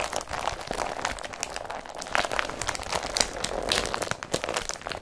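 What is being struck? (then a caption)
Woven polypropylene carrier bag. Fingertips and short nails rub and crinkle an empty blue IKEA BRATTBY carrier bag made of woven polypropylene. The result is a steady, dense stream of bright, papery crinkles and crunchy scratches with almost no low end.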